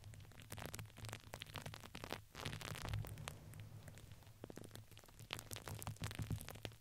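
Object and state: Fuzzy fabric ring with crinkly filling.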